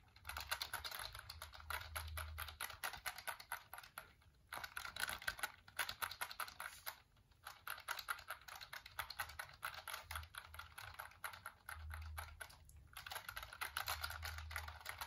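A hollow black plastic computer keyboard, held vertically in both hands, is tapped and clicked by fingertips and nails in rapid bursts of sharp, dry, bright clicks. The bursts pause briefly around 4.5, 7, and 13 seconds, and a faint low hum comes and goes underneath.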